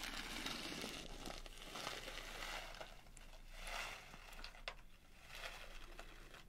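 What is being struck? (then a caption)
Plastic pouch of sugar sprinkles. A small printed plastic pouch filled with blue sugar sprinkles is held by the top and shaken and squeezed with fingers. It makes soft, irregular bursts of bright plastic crinkling mixed with the gritty rattle of sprinkles shifting inside, with occasional sharper crackles.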